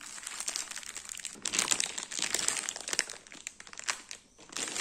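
A large, soft round lemon ring cake (ciambella) sealed in a clear plastic bag is held, scratched and tapped with fingertips and nails on the bag. The result is dense, bright plastic crinkling with many quick scratchy taps. It dips briefly to near silence just before the end.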